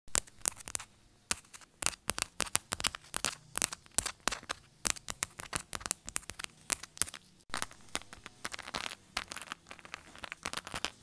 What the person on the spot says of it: Fast aggressive phone case tapping asmr